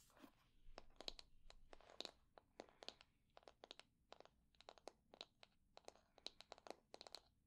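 Long nails scratch the wooden pins of a wooden hair brush and tap its wooden handle, making about thirty quick, dry, crunchy clicks with a bright tone peaking near 3.9 kHz. Each tick dies away almost instantly, over a faint low background hum.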